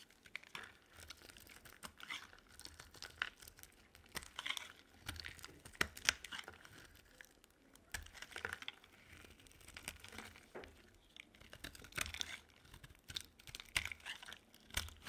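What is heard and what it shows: A utility knife blade scrapes and shaves a solid pink bar of dry soap held in the palm. A quiet stream of short, dry, crinkly scrapes and crisp cuts comes in uneven bursts, mostly bright and high with little low end.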